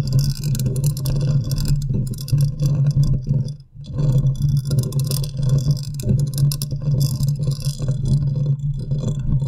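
Long nails scratch the side of the hollow metal mesh grille on a large condenser microphone. The result is a close, continuous rumbling scrape dominated by low tones, with a steady low hum near 145 Hz and faint bright hiss on top. The scratching dips briefly to near silence just before the 4-second mark, then resumes.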